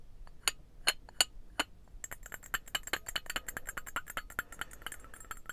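A small, hollow, painted ceramic birdhouse-shaped trinket box is held in both hands and tapped and scratched with the fingernails. Four separate bright clinks ring out briefly with a pitch near 2.9 kHz, then a dense run of quick, crisp tapping and scratching clinks follows.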